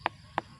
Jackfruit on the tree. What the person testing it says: Pinipitik mo lang. Hindi pa siya hinog.